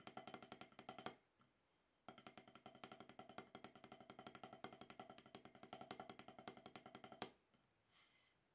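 Wooden drumsticks tap alternately on a solid, octagonal rubber-top snare practice pad in quick, dry strokes with a pitched, woody knock and almost no ring. A short burst of rolling taps stops after about a second, then a longer steady run plays for about five seconds before ending, followed by a faint brief rustle.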